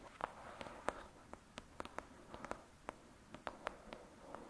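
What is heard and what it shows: Long pointed acrylic nails on both hands tap and scratch the cover of a thick, solid 'Lady Midnight' paperback book lying flat. About 17 quiet, crisp clicks sit over a soft, steady scratching hiss. The taps are dry and short, centered in the mid range around 590 Hz, with almost no ring or low end.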